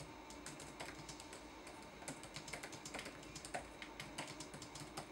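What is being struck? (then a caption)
Plastic laptop keyboard keys. Fingertips tap quickly across the plastic keys of a red-backlit laptop keyboard in fast typing. The result is a steady stream of light, bright clicks with short decays over a faint constant background noise.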